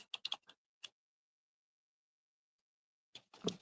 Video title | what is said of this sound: Tactical Tuesdays with EDCwithDBD! Are YOU ready to get Tactical AF? | I have a little bit of rattle